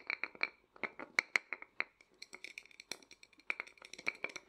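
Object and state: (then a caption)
Painted wooden nesting doll. Fingertips and nails tap and scratch quickly across the front of a small, hollow, painted and lacquered wooden matryoshka nesting doll held upright. The taps come in a fast, irregular run of dry, bright clicks with a hollow knock near 2.2 kHz, stopping dead with no ring. Soft scratchy rustles fill the gaps between them.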